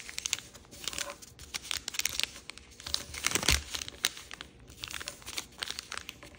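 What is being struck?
Thin origami paper sheet on a wooden table.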